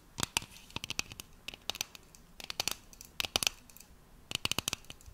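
Long nails scratch and tap along the side of a tall, cylindrical, hollow, pressurized metal aerosol can of shaving foam with a printed label, held in one hand. Four bursts of quick, sharp, bright clicks and scratchy ticks, each dying instantly with no ring, stand out over a faint, quiet hiss.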